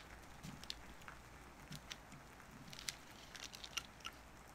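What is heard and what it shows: A small wooden-handled carving knife carves and scrapes a solid, hand-sized orange-tan bar of soap resting on paper over a cutting mat. Quiet, soft scraping runs throughout, broken by short, crisp, bright clicks and shaving snaps that die away instantly. A faint low hum sits underneath.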